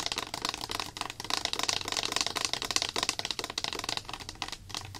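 Long black acrylic nails rapidly tap and scratch the body and printed label of a small, clear plastic slime activator bottle with a white cap, filled with liquid. A dense run of quick, dry, bright clicks and scratchy rustles with almost no low end and no ring after each tap.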